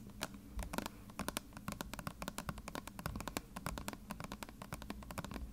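Long red-painted nails scratch and tap along the paper label of a medium, hollow, partly filled plastic bottle of contact lens solution. Quick, dry clicks with almost no ring land in an irregular stream, with soft scratching between them over a low, muffled body.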